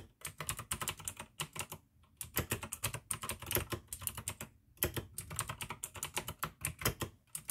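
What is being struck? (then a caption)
Plastic mechanical keyboard. Fingertips type fast on a full-size pink AUKEY plastic mechanical gaming keyboard with RGB backlight, clicky blue switches and a hollow case. Bright, crisp clicks rattle in quick bursts over a low, hollow thock, with brief pauses near the two- and five-second marks.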